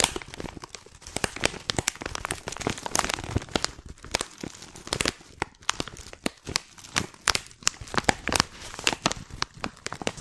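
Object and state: Plastic tea pouch.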